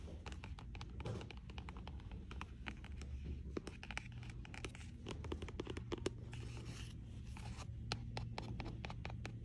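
Dozens of dry fingernail clicks and scratches on a glossy paperback spine, over a steady low room hum.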